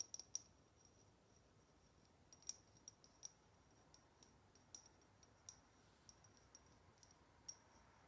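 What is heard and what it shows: Long nails tap and click on the base of a small, hollow chrome metal cat salt shaker held bottom-up. The result is a quiet series of sharp, bright metallic ticks with a high ringing tone and almost no low end.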